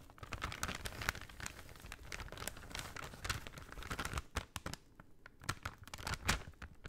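A folded brown kraft paper shopping bag is held in both hands and crinkled and rubbed with the fingers. The result is dense, dry crackling, with sharp bright snaps over a soft rustle that eases briefly before a final burst of crinkles.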